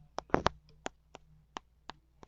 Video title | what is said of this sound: I`ve got some Cacao pods. Can I make chocolate from it? | you can see the snapping or the kind of hollow sound of it